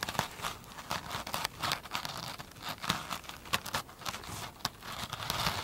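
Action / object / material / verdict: scrape / foam sponge with glittery woven cover / foam / none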